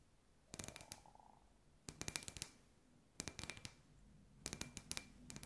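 Long white nails tap and scratch a hand-sized hollow clear glass sphere with fairy lights inside, a glass ball lamp. Four quick bursts of bright clicking taps with a faint glassy ring, separated by quiet pauses.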